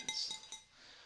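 Light taps on a glass vase give bright, high-pitched clinks with a ringing tone around 3.8 kHz. The short ring fades quickly after each tap.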